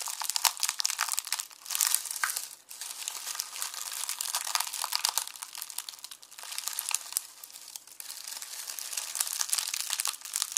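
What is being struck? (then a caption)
Onion skins in a plastic mesh bag. Both hands press flat on a red plastic mesh bag of dry, papery onion skins resting on a bamboo board, crushing it with fingertips and palms. The result is a dense, continuous crinkling and crackling that is bright and thin, with almost no low end. It swells and eases with brief lulls between rounds of pressing.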